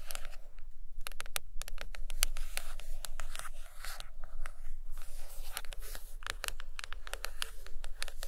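Long acrylic nails tap and scratch the cover of a thick, solid purple hardcover book lying closed on a carpet. Quick, crisp taps mix with dry, scratchy scraping over a steady low rumble, each sound dying away almost at once.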